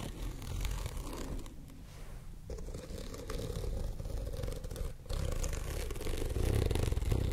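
A white studded fabric pouch, held sideways near the mic, is scratched by long nails running across its rows of studs. This makes a dense, continuous, low-heavy scraping with rapid uneven ticking. It eases into a quieter, thinner patch early on, then grows fuller and louder toward the end.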